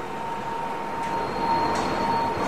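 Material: Nothing is struck.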